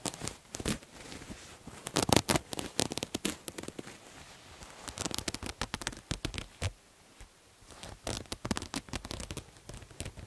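Fingernails scratch a multicolored striped terry cloth towel with a visible looped edge. The sound comes in quick clusters of dry, crackly, broadband scratching that reaches bright and high, separated by short quiet pauses. Each stroke is brief and stops with almost no ring.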